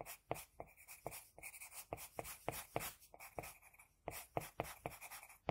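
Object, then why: Graphite pencil on a sheet of drawing paper. An HB pencil scratches across a flat sheet of drawing paper while drawing a second eye. Quick, quiet, scratchy strokes come in an irregular rhythm, each a short dry burst of graphite rasp with a brief bright edge and almost no ring. The faint hiss of the paper fills the gaps between strokes.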